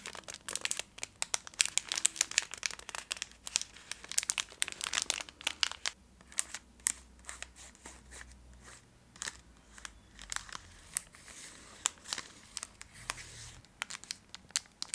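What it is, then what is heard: Chocolate bar in crinkly foil wrapper. A full Twix chocolate bar in a metallized plastic foil wrapper is crinkled and scratched with long acrylic nails, held close. Dense, bright crackles and sharp scratchy clicks come in uneven bursts, busiest in the first six seconds and then sparser, with almost no low end.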